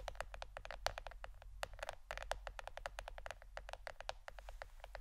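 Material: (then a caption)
Plastic. Fingernails tap rapidly on a plastic board shaped like a shirt, making a quick run of short, clicky taps with a faint ring around 680 Hz that dies away almost at once. A steady low hum runs underneath throughout.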